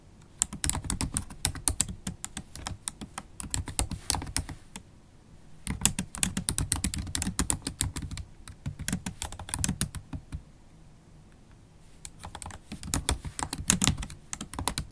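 Long stiletto acrylic nails and fingertips type on a MacBook Pro laptop keyboard with low-profile black plastic keys in a silver aluminum body. Rapid, dry clicks and taps with bright nail ticks come in three bursts, broken by brief pauses near five and eleven seconds.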